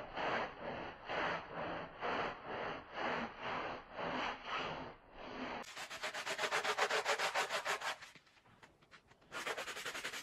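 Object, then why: Wet wool pile rug scrubbed with a plastic bristle brush. A handheld plastic bristle brush scrubs a small, wet Persian-style rug of woven wool pile on a soapy floor, working along the fringe and body. Slow, rhythmic, wet rasping strokes give way to faster, brighter, hissing scrubbing. The scrubbing briefly drops to quiet scratches, then resumes at full strength.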